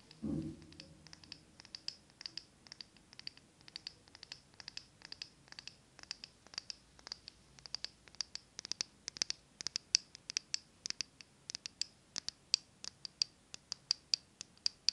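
Long French-tip nails scratch and tap a small glass jar of green wax with a paper apple label. After a brief soft thump at the start, a quiet, steady run of crisp, bright clicks and scratchy ticks follows, each dry and dying away almost instantly with almost no low end.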